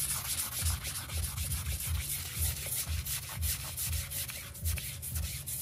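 A stiff-bristle hand brush, held in an orange glove, scrubs back and forth across a grey printed synthetic doormat rug covered in soap foam. Rhythmic strokes come about twice a second, each with a low, dull thump under a steady, bright, bristly hiss.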